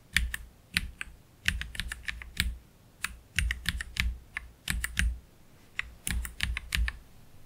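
One hand slowly types with its fingertips on a black Keychron K3 Pro low-profile mechanical keyboard with plastic keycaps and Gateron Red low-profile switches. Each short keystroke combines a low thock with a bright click, coming singly or in quick little runs separated by quiet pauses.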